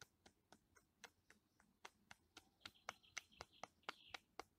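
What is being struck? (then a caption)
Ridged bark of a living tree trunk. Fingertips and nails tap and scratch the ridges of a living tree trunk with solid, grey-brown, vertically ridged, flaky bark. About 17 quiet, dry, bright clicks land at an uneven pace of roughly two per second, each dying away almost instantly. In the second half, a faint scratchy tone around 2 kHz runs beneath the taps.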